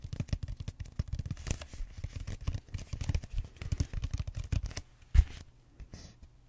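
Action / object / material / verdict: scrape / styrofoam foam roller end / styrofoam / none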